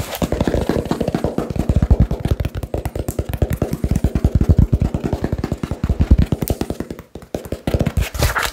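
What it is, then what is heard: Cardboard box tapped. Fingertips and nails tap very fast on a small, hollow cardboard box wrapped with blue tape. The result is a rapid, continuous stream of dull, hollow thumps, mostly low in pitch with very little ring. The tapping pauses briefly near the seven-second mark, then resumes.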